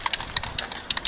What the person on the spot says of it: you got to shake it got a rattle